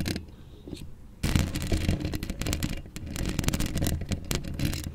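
A hollow steel mesh microphone grille is scratched by long acrylic nails. After a quiet start with faint ticks, dense, crackly scraping sets in around the one-second mark. The scraping is heavy with low rumble and carries sharp bright clicks throughout.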